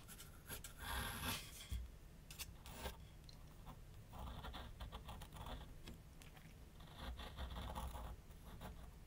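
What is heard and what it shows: A graphite pencil scratches outline strokes across a large white paper sheet mounted on a flat board on an easel. Soft, dry scratching comes in strokes of bright, hissy friction over a steady low rumble, at a fairly quiet level.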